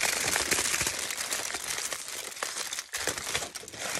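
Both hands crumple a crinkled, thin aluminium foil sheet and rub its surface with the fingers. The result is a dense, bright crinkling and crackling, mostly in the high range with little low end, steady throughout except for a brief near-silent dip around the three-second mark.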